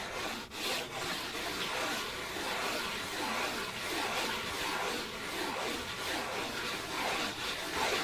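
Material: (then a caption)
Paper. A thin, flat, white printed disposable paper plate is rubbed slowly with the fingertips across its surface and rim. The result is a steady, soft, dry scratchy rustle with bright hiss and little low end, carrying on without pause for about eight seconds.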